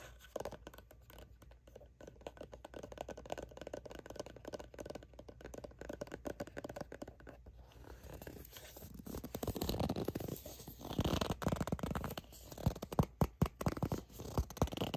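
Long nails scratch and tap the printed back label of a soft, hollow plastic sunscreen squeeze tube that appears filled. Quiet, dense scratching for the first half builds after about eight seconds into louder crinkly scraping, with sharp taps near the end.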